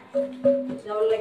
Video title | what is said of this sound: ชมบ่อน้ำศักดิ์สิทธิ์/รอยจารึกของรัชกาลที่ 7/ที่ถ้ำมืด วัดคูหาภิมุข จ.ยะลา | ความโปร่งแล้วมีความเกร่งค่ะอันเนี้ยเราเลยเคาะ